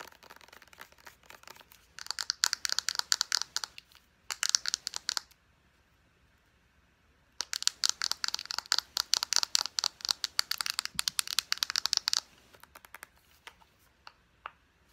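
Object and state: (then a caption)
Plastic lotion squeeze tube. Long nails tap fast on the body and round white plastic cap of a small plastic lotion squeeze tube held in both hands. Bursts of rapid, bright, crisp clicks sit mostly high in pitch with no low end. They stop for about two seconds midway, return in a long dense run, then thin out to a few scattered taps.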